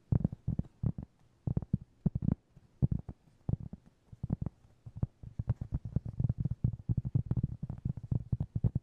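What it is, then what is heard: Cork trivet. A round, flat, solid cork trivet about 20 cm across is held in both hands and tapped and scratched with fingertips and short nails. It gives soft, dull, low thuds in quick irregular bursts, growing into a denser patter toward the end. Each tap stops dead with no ring.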